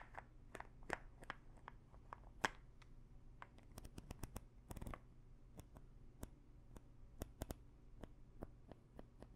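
Long nails tap on the cap of a small plastic pill bottle full of pills, making a quiet series of sharp, dry clicks with brief bright ticks and no ring. A few clustered taps near the middle are denser, all over a faint low background hum.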